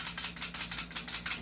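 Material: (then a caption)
Metal. A cheaper, John Wick-style airsoft replica pistol is shaken to show that its loose metal outer barrel rattles. About eight quick, bright, clattering clicks are heard in a steady rhythm, each dying away almost at once. The rattle reveals a loose outer barrel rather than a fixed one.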